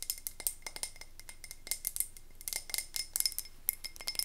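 A medium wax-filled frosted glass candle tumbler is held up and tapped rapidly with long nails. It gives a quick, uneven series of short, bright glass clinks that stop almost instantly, with a faint steady tone in the upper mids.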